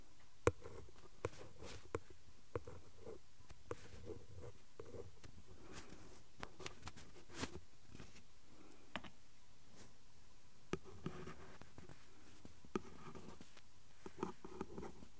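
A ballpoint pen tip traces and scratches over the printed surface of the flat cardboard backing card from a glue stick blister pack while a hand holds the card steady. Faint, dry scratching and rubbing sit over a low, muffled rumble, broken by scattered short, sharp ticks and clicks that stop instantly.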